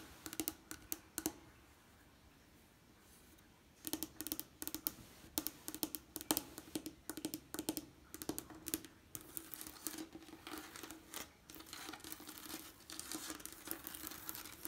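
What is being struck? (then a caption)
Leaded stained glass window. Long painted nails tap and scratch the textured panes and lead lines of a leaded stained glass window, around a painted bird pane. Sharp, bright clicks with very short ring come in quick bursts over a faint steady tone near 300 Hz. After a quiet gap of about two seconds early on, the tapping grows denser and mixes with soft scratching.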